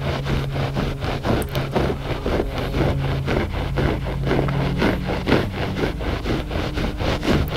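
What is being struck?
Looped-pile carpet rug.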